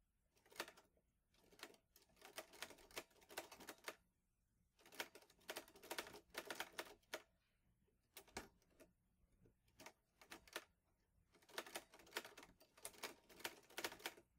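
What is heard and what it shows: Fingertips type on the keys of a green metal portable manual typewriter, an Olivetti Lettera 22. Quick runs of sharp, bright clacks arrive in bursts, with a few lone keystrokes between short pauses. Each strike dies away almost instantly.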